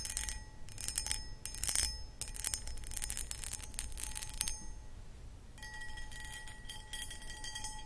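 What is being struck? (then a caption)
Cut glass footed bowl. Long acrylic nails scratch and tap the sides of a medium-sized, empty, hollow, clear cut glass pedestal (footed) bowl. Bright, gritty scratching bursts and light taps come in uneven waves, with a faint sustained glassy ring underneath. A short lull falls near the middle before the scratching resumes.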